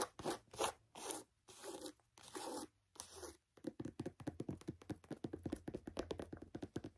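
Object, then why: Canvas sneaker with rubber sole. Long nails scratch and tap a handheld, hollow, empty mustard canvas Converse sneaker with a rubber sole and white laces, working over the canvas upper, the laces and the rubber sidewall. A few slow, drawn-out rasping scratches give way to a quick run of short, crisp taps and scrapes.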